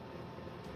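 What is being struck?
Nothing is struck.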